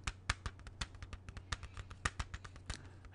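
A closed, hollow, clear plastic CD jewel case is held upright and tapped on its front with fingertips and nails. About 18 quick, dry clicks and taps come in an uneven rhythm, each dying away almost instantly. A steady low hum runs underneath.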